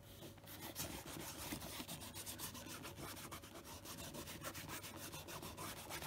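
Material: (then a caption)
Leather. Fingertips wrapped in a cloth rub cleaner over the toe cap of a hollow tan leather brogue country boot. The result is a steady, quick, dry scuffing with broadband friction noise reaching into the high range. The strokes blur together without clear gaps.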